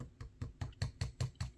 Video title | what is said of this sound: galaxy book 3 pro 360 vs galaxy book 3 ultra i7 13700h rtx 4050 | see hear the difference it's a plastic hinge